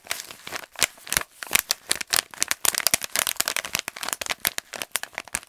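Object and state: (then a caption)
Kraft paper pouch. A brown kraft paper pouch held in both hands is crinkled and tapped with the fingertips and nails. A fast, irregular series of sharp, bright taps and papery crinkles follows, each dying away almost instantly, with almost no low end.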